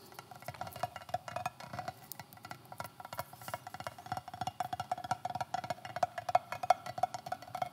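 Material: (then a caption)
Steel. Rapid, irregular tapping on an AR-500 steel strike-face armor plate from Armored Republic. It makes quick, dry ticks with a faint metallic tone around 730 Hz that dies away almost instantly, and the taps grow busier and louder toward the end.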